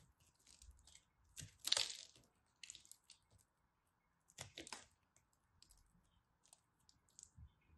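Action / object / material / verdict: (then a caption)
scrape / pressed soap chunk / soap / none. A small, solid, glittery pressed soap piece is cut and scraped with a craft knife. Quiet, bright, crisp scraping and crunching bursts come in irregular clusters separated by near silence, with the loudest crunches near the start and middle. Each sound is dry and stops abruptly, with almost no low end.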